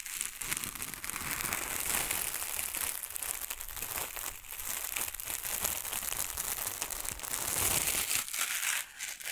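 A soft, spongy, hand-sized white foam cylinder is held close to the microphones and squeezed and rubbed with fingertips and long nails. The result is a steady, bright stream of crushing and crinkling sounds that stays mostly in the upper range, with a brief dip in level near the end.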